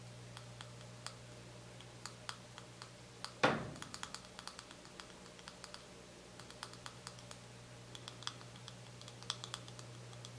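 Fingernails rapidly tap a small, full white plastic cosmetic cream tube held up in the air, producing a steady stream of light, dry clicks. One louder knock just after three seconds rings briefly. A low, constant hum sits underneath throughout.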